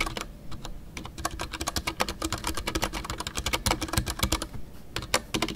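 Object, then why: Mechanical keyboard with PBT plastic keycaps. Fingertips type continuously on a full-size Ducky One 2 mechanical keyboard with a white case, PBT plastic keycaps and MX Brown switches. A steady, quick stream of short, bright key clacks has a soft low thump beneath each press, and every stroke dies away almost at once.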